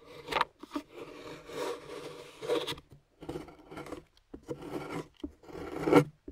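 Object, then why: Dark chocolate bar scraped by a knife blade. A large knife blade is scraped across a flat, solid dark chocolate bar resting on a wooden board, shaving off curls. Repeated dry, rasping scrapes come in short bursts separated by brief pauses, with a midrange grainy texture.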